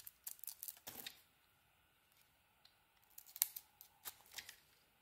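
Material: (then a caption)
Soap. A metal box-cutter blade shaves the edges of a solid blue and cream Lux soap bar, giving short, crisp, bright scraping strokes. The strokes come in a quick cluster, pause briefly in near silence, then return in a second cluster. Almost no low end is heard.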